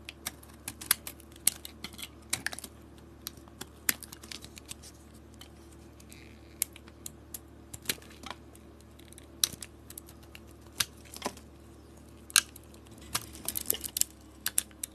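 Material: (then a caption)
Soap. A utility blade scrapes and carves a solid white bar of soap, still bearing remnants of its coating, as it is held in hand. Dozens of short, crisp, bright scratching clicks come in irregular bursts, each dying away almost instantly, over a faint steady low hum.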